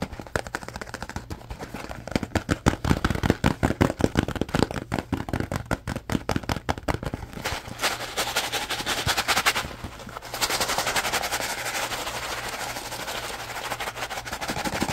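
Fingertips tap rapidly on a small, hollow, printed cardboard Lipton noodle soup mix box that is partly filled, making dense, uneven hollow knocks for the first seven seconds. Bright, hissing scratches across the printed surface follow, then a steady rustling shake of the contents inside the box.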